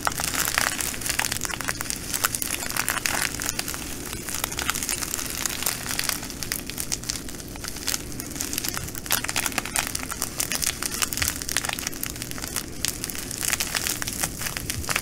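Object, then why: Plastic bag of small glass beads. A plastic bag of green glass bugle beads rests on a table while long nails scratch and press it. This produces continuous bright crinkling and crackling with dense, rapid ticks, over a faint steady low hum.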